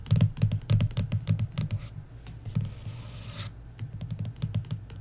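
Several long nails tap rapidly on the cover of an embossed paperback book lying flat, making quick, dry, low thuddy clicks with bright clicky edges. Midway the tapping pauses for a brief hissing scratch across the cover before the uneven tapping resumes.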